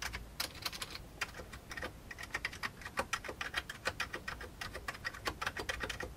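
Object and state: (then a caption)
Old plastic computer keyboard. Fingertips press keys on the right side and center of an old beige plastic computer keyboard. A steady, rapid run of short, dry, bright clicks and clacks follows, each dying away almost instantly over a faint low background.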